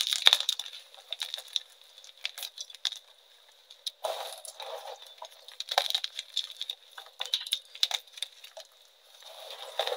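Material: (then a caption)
Chalk. Large solid chunks of pink-dyed reformed gym chalk are broken apart on a metal tray, with fingertips and nails crushing and crumbling them into pieces and dust. Dense, dry, bright snaps and gritty crackles come in quick bursts with short pauses, with no low end and a faint steady tone near 3.7 kHz underneath.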